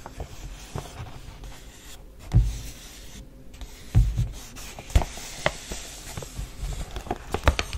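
A folded brown and green printed kraft paper gift bag, held upright, is tapped and rubbed lightly by fingertips and long nails. Soft, dull taps land at irregular intervals over a continuous faint papery rustle and scratch, with a few louder thumps standing out.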